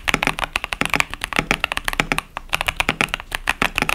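Fingertips of both hands type continuously on a 65% KBD67 Lite mechanical keyboard with Boba U4T tactile switches and pastel plastic keycaps. About 25 quick key presses come through as short, bright clacks with a thin low thud and a strong tone near 2.4 kHz, each dying away almost instantly.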